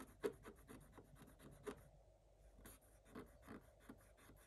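A thin wooden stylus scratches short strokes across the black coated scratch-art page of a spiral-bound book lying flat on a table. The result is quiet, dry, papery scratching in uneven bursts with bright hiss and almost no ring. About nine stroke peaks stand apart, with sharper accents near the start and in the middle.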